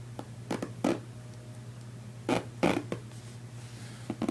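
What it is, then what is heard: Nylon fabric suitcase. Fingertips with painted nails scratch and tap the side of a large, soft-sided red nylon/polyester duffel-style suitcase lying on carpet, while the other hand works near the top zipper. The taps and scratches come as short, dull, uneven bursts of fabric rustle with quick decay. A steady low hum runs underneath.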